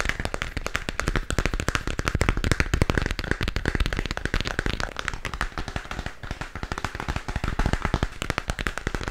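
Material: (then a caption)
Plastic. A glowing spherical moon lamp about 15 cm across with a hollow plastic shell is held in both hands and tapped with fingertips and nails. The taps come as a rapid, continuous patter of short, dry clicks with a hollow low thump. They die away almost instantly, with no ring.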